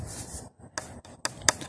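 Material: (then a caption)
Wood. Three short, bright taps on the wood-looking back panel of a Prunus J-160 vintage-style radio produce a dry, woody knock that dies away almost instantly. The panel sounds like wood, heard outdoors with a faint background hiss between the taps.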